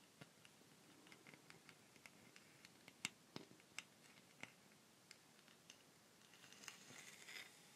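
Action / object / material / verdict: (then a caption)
tap / wooden rainstick / wood / none. Long fingernails tap and scratch the surface of a long, hollow wooden rainstick held close, making a quiet string of sharp, bright clicks and scrapes over a soft hiss. Near the end, the rainstick is held horizontally in both hands, and a brief, bright, trickling patter swells and fades.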